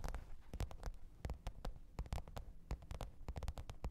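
Long pointed nails tap and scratch the top of a black textured faux-leather hard-shell microphone case with a zipper, lying flat on fur. Rapid, irregular, soft, dull taps with deep low thumps and quick clicky edges die away almost instantly, mixed with faint scratching.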